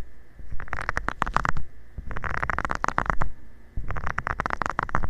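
A covered fingertip rubs and taps across the small nubs of a flat, round, green silicone scrubber pad lying flat. Dry, scratchy rubbing and soft, quick taps come in three irregular bursts separated by brief quieter pauses, with a low rumbling body.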